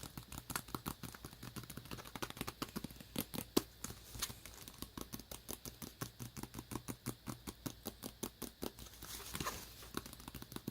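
Rapid, steady tapping on a tablet cover produces a stream of short, dry clicks with very little ring. The clicks are spaced closely across the whole clip, with a few louder taps along the way. It ends in a soft brushing scrape near the finish.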